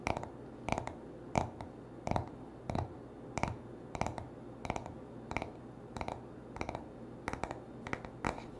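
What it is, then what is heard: Wooden hairbrush back. Fingertips and short nails tap and scratch the smooth, solid wooden back of a hand-sized paddle hairbrush. Short, dry taps come in small irregular clusters with a faint scratching texture between them, each decaying almost instantly over a steady low background hiss.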